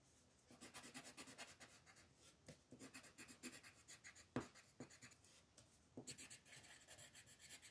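A green colored pencil makes fast scratching and rubbing strokes across a flat white paper mandala coloring sheet. The quiet, dry, bright scratches come in rapid bursts with short pauses, and one stroke lands sharper and louder midway through.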